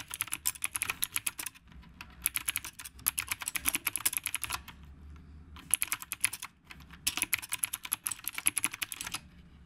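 Fingertips of both hands type continuously on a retro typewriter-style mechanical keyboard with round plastic keycaps. Rapid, bright, crisp clacks come in flurries separated by brief pauses, each keystroke short and dry with almost no ring. A faint low hum sits beneath the clicks.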